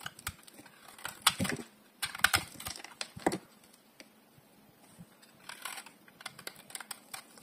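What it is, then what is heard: Soap bar being carved. A solid, hand-sized bar of dry blue and white striped soap is held in one hand and shaved with a metal utility blade, the shavings piling up below. Short, crisp, bright scraping strokes come in irregular clusters, each dying away almost at once, with quiet gaps between bursts.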